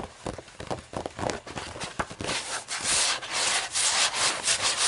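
Long nails scratch and rub across the paper pages of a thick hardcover book lying open. The sound begins as short, separate dry strokes, then builds into denser, louder, bright papery scraping that continues to the end.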